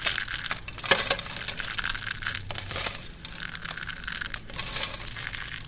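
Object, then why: Thin soap shavings. Curled and flat thin green dry soap shavings, held in cupped hands with grey nails, are pressed and crushed by the hands on a black surface. A steady, bright, dry crunching and crackling runs throughout, with a few sharper snaps standing out. There is little low end.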